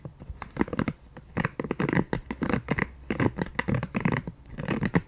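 A pink silicone scalp massager brush, held in both hands and turned to its dotted side, is scratched and tapped with long painted nails. The result is a quick, uneven run of dry scratching and soft tapping bursts that stop dead with no ring.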